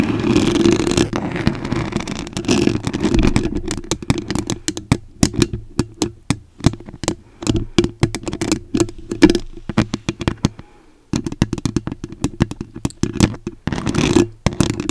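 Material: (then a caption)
Foam. Long acrylic nails scratch and tap on a white foam microphone windscreen, making close, muffled scratching rustles broken up by quick dry clicks and taps. The sound is mostly low and soft with a steady low drone beneath it, and it stops for a brief quiet gap before the scratching and tapping resume.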